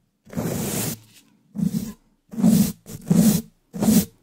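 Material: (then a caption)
Metal mesh. A wooden dish brush's bristles, held in a black-gloved hand, rapidly brush and scratch across the top of a black hollow-dome metal mesh microphone grille. This produces a series of short, harsh, rasping bursts separated by silence. Each burst has bright scratchy hiss over a boomy low resonance that sounds almost like a growl.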